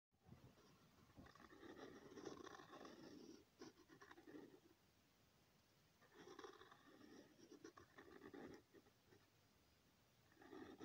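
A ballpoint-type pen tip is drawn in continuous circles across a thin, flat sheet of lined notebook paper resting on a hard surface. It makes a soft, rasping scratch with a mid-range hum and brighter papery texture. The scratching comes in two long stretches separated by quiet pauses, with a third starting at the end.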